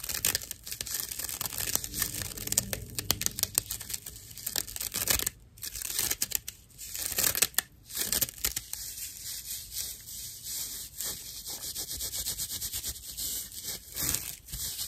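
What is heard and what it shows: A slice of dried natural loofah fiber with a string loop, held upright, is scratched and rubbed with long nails. It makes a dense, bright, dry rasping and crackling, like tearing or crinkling, in quick irregular strokes with brief pauses. The strokes have almost no low end and no ring.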